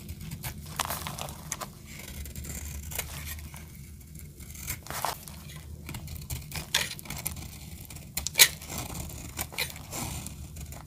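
A solid blue dry soap bar held in the hand is sliced with a metal blade, and flakes break off crunchily. Crisp, bright scraping and crackling cuts come at an uneven pace over a low, steady rumble, with one sharper snap near the end.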